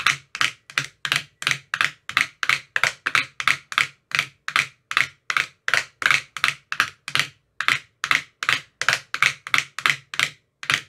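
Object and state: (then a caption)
Plastic ice cube tray. A thin metal rod with a white rounded tip taps inside the hollow cells of an empty, translucent frosted plastic ice cube tray with 15 compartments. About 36 short, bright, clicky taps come in a quick, slightly uneven rhythm. Each tap dies away almost at once, leaving only a faint low thud beneath it.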